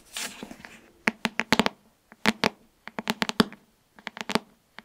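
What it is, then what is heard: Hardcover book. Long nails tap and scratch the glossy cover of a solid pink hardcover book, "Girl, Goddess, Queen," held near the mic. A soft scratchy brushing opens the clip, followed by clusters of sharp, dry, bright clicking taps with a faint low resonance from the cover, separated by short silences.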